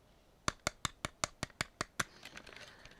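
Nine sharp, bright taps land on the back of a large plastic DC Multiverse Justice Buster (Batman: Endgame) mega action figure, followed by fainter, quicker tapping. Each click is short and dry with almost no ring, giving a hollow, light sound that reveals the figure's thin, hollow build.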